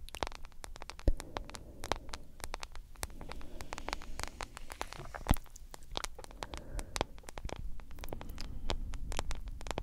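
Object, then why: Smartphone with glass screen in silicone case. Long acrylic nails tap and scratch the black glass screen and the case edge of a hand-sized smartphone in a yellow silicone case. Rapid, sharp clicks with bright crisp tops run throughout over a faint low hum and soft scratchy texture. Two taps stand out louder than the rest.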